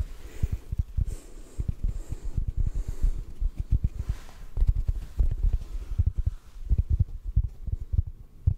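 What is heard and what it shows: A large, soft yellow block of porous synthetic foam sponge is held over the mic and softly tapped with the fingertips. The result is a quick, uneven stream of deep, muffled thumps that stop almost instantly, with a faint airy hiss between them.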